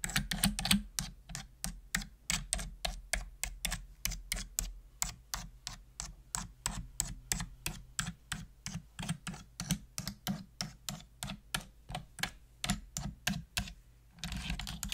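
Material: Plastic.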